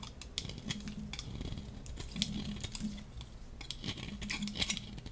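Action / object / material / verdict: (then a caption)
scrape / soap bar scraped with a metal blade / soap / none. A metal utility-knife blade shaves a hand-sized, solid, blue-and-white striped dry soap bar held in the hand. The result is a steady run of crisp, dry scraping with many short, bright ticks and crackles over a faint low hum.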